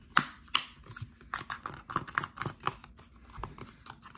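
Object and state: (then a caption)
Plastic shower gel bottle. Fingertips and short nails tap and scratch a hand-sized dark plastic Axe shower gel bottle, hollow and likely partly full, and its flip cap. About a dozen sharp, hollow plastic clicks ring briefly with a bright edge, landing at an uneven pace with light scratching between them.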